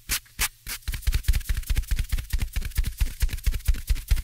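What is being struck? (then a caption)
Open-cell foam microphone windscreen. Fingertips tap and scratch a small, soft black open-cell foam windscreen on the right of two microphones. Three slow, separate brushes come first, then a quick, uneven run of muffled taps and scratches. Each one is a deep, boomy thump with a crackly, bright fuzz on top that stops almost at once.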